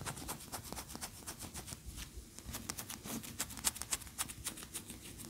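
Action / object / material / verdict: scrape / wax pillar candle / wax / none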